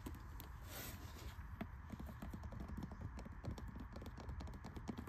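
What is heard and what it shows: A small green cloth-bound hardcover library book with a solid paper block rests on a carpet tile floor while long red-painted nails tap and scratch its cloth cover and page edges. Quick, dull, low taps mix with light scratching over a steady soft hiss.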